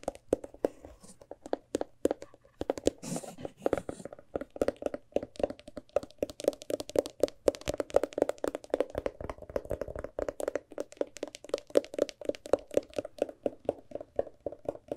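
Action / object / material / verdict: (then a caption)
tap / hardcover book / paper and board / none. Long nails and fingertips tap rapidly across the page block edges and cover of a large, thick hardcover book. The result is a dense, uneven stream of short, dry clicks and soft knocks centered around 530 Hz, each dying away almost instantly, with occasional brighter nail ticks.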